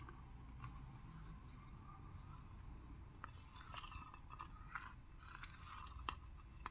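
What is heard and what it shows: A small sealed and presumably full Wild Planet tuna can (a metal tin with a paper label and a yellow-rimmed lid) is held in both hands and tapped and scratched with short manicured fingernails on the lid and around the side, turned between strikes. Quiet, dry fingernail taps and light scratches give short, bright clicks with a faint tinny tone around 1.1 kHz that dies away almost at once, over a low, steady background rumble.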